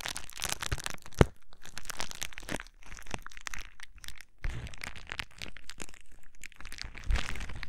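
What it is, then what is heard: Plastic bubble wrap. A sheet of clear plastic bubble wrap is held against a microphone and crinkled and squeezed with fingertips. It makes a steady run of close, dense crinkling and crackling with a deep, muffled low-end thump from the contact. A single sharp pop stands out early on.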